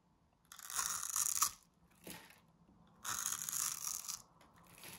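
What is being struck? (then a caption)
Bar of soap scratched with a metal pin. A thin metal needle or pin scores a grid into the surface of a pink rectangular bar of dry solid soap held in one hand. It makes dry, crunchy, bright scratching in bursts: two longer raspy scrapes with shorter strokes between them, over quiet gaps.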